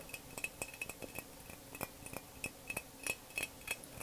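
A glass jug filled with water is tapped and smacked with the fingers, giving 13 quick, unevenly spaced clinks. Each hit has a bright, glassy ring around 2.6 kHz that dies away almost at once.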